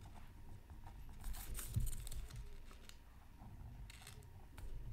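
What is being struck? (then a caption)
Black-coated scratch art card scraped with a bamboo stylus. A bamboo stylus tip scratches a flat black-coated scratch art card from a Mythical Creatures Super Scratch Art Pad, lying on a mat. Quiet, dry scraping and crinkly strokes come in uneven short bursts, brightest around the middle and near the end, over a low, steady rumble.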